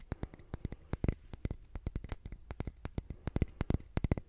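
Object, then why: Concrete calendar block. A solid grey concrete calendar block engraved with month names is held in the hand and tapped and scratched with fingernails. About 25 quick, dry taps come in an uneven rhythm, each a dull low knock with a bright click on top that dies away at once. Faint scratching fills the gaps between them.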